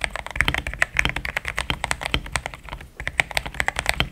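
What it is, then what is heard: Mechanical keyboard with plastic keycaps. A pink-framed compact mechanical keyboard with thick cream XDA plastic keycaps, a polycarbonate plate, linear switches and a hollow case is typed on with fingertips in steady taps. Short, bright clacks with a clear upper-midrange tone follow one another quickly. The only break is a brief pause near the three-second mark.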